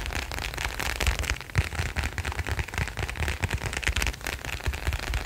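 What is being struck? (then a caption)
Leather wallet. A leather wallet is tapped quickly and continuously, giving a dense run of soft, quiet, muffled taps. Each tap is low and thumping, dies away almost at once, and carries a light papery rustle.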